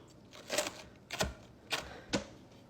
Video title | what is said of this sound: Bakerbattie racepe | can you hear how crispy that is?